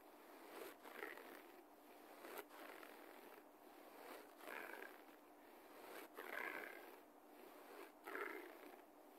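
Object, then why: Low-pile carpet floor. Fingertips and nails of both hands scratch the fibers of a low-pile beige carpet laid over a solid floor, with the person lying on the floor. The result is dry, raspy scratching in repeated swells with bright, brief onsets, rising and easing in an uneven rhythm over a soft hiss.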